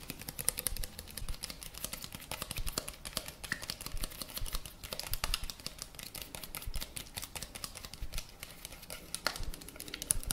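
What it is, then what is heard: Plastic cosmetic bottle. A small, hollow white plastic cosmetic bottle with a pink base and green label is held in one hand and tapped rapidly with the fingertips of the other. A steady stream of quick, dry, clicky taps runs for about ten seconds, each tap short and bright with almost no ring and a light low thump beneath.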